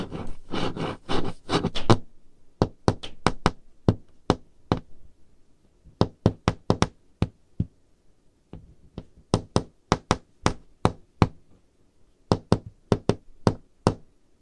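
Long, dark-painted nails tap on a varnished solid wood-grain tabletop. It opens with a quick, dense flurry of taps, then continues in spaced clusters of sharp, separate taps. Each tap is a short, dry click with a low woody knock and a bright tick that dies away almost instantly.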